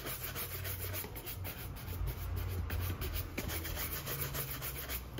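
A gloved hand holds a brown leather cap-toe oxford, hollow and empty with a shoe tree inside, and brushes its upper vigorously with a handheld shoe-shine brush in rapid back-and-forth strokes. The result is a steady, dense rubbing and swishing of bristles on leather, with a bright bristly hiss over a heavy low rumble that never lets up.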